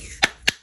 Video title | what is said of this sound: Kahoy na Bonito fish Bar ikaen ko | kapag pinukpok nyo siya na matining na yung kanyang tunog. Maganda ang pagkakaluto niyan. Ayan, naririnig nyo yung parang antining. Wala na siyang kahangin-hangin.